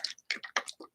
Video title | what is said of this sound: Early Mornings With Meri, Crazy Quilt Art Journal Cover, Clean Stencils, Modeling Paste | you can hear it shaking